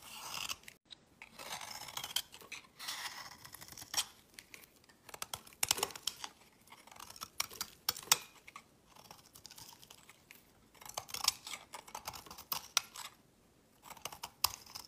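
A solid brown 72% laundry soap bar, held in the hand, is shaved with a metal utility knife blade, and thin shavings pile up. The result is a run of quiet, crisp, bright scraping and crunching strokes in short bursts, with almost no low end and no ring after each stroke.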